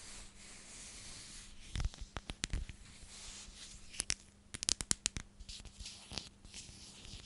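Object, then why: Plastic storage container. A clear plastic storage container with a purple lid is turned in the hands while long nails rub and scratch across it. A steady, bright scratchy hiss runs throughout, broken by scattered sharp, dry clicks and ticks that cluster in the middle, over a faint low steady hum.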